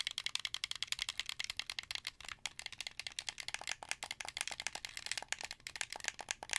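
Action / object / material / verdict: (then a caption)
tap / plastic game controller / plastic / none. Fingertips press the buttons and thumbsticks of a hand-held, hollow, translucent blue plastic Xbox 360 controller. The result is a rapid, irregular stream of rattly plastic clicks that are bright and dry, with almost no low end and no ring after each tap.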